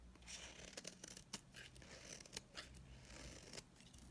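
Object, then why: Bar of soap scraped with a knife blade. A utility knife blade scrapes across a solid, dry blue bar of soap held in the hand, shaving off powdery dry flakes. Quick, crisp scratching strokes repeat in bright, rasping bursts, each dying away almost instantly over a faint low hum.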